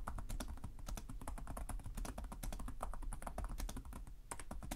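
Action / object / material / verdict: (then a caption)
tap / plastic laptop keyboard keys / plastic / none. Both hands type rapidly with short-nailed fingertips on the plastic chiclet keys of a black laptop resting on a desk. A steady stream of quick, short clicking taps is heard, each with a bright click over a soft low thud and almost no ring.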